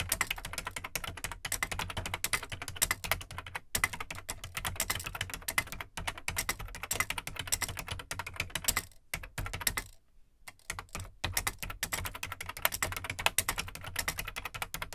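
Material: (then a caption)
Plastic. Fingertips type on the plastic keycaps of an Amstrad CPC 464 home computer, whose large hollow black plastic case carries a steady stream of quick, bright, dry clicks with a low thump beneath them. A microphone rests in front of the keyboard and is not tapped. The typing pauses briefly around the ten-second mark, then resumes at the same pace.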